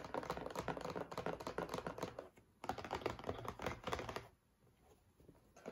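A cardboard tissue box is tapped and handled with quick, uneven dull taps and soft thunks. The busy tapping runs in two bursts separated by a short pause, then drops to a few faint taps before one last louder tap at the end.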